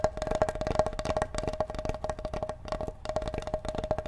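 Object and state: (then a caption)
Wooden cutting board. Fingertips tap and drum on the face of a large, flat, solid wooden cutting board held behind the microphone. The result is a quick, uneven patter of dry, woody knocks with a steady hollow tone around 625 Hz and very short decay. The rhythm briefly thins out before picking back up.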